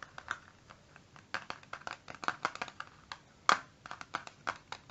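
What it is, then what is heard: Plastic eyeshadow palette. A small, hollow, flat rectangular clear plastic eyeshadow palette with a black base and round colour pans inside is held in both hands and tapped on its lid and edge with short fingertips and nails. About twenty-one quick, dry, clicky taps sound in an irregular rhythm, each bright and crisp with almost no low end and a very short ring. One tap about two-thirds of the way through is noticeably louder than the rest.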